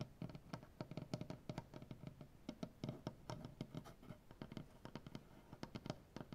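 Fingernails of both hands scratch across a solid light wood butcher block tabletop. The result is a quiet, fast run of short, dry scrapes and taps, mostly low and thudding with little high brightness. Each stroke dies out almost at once.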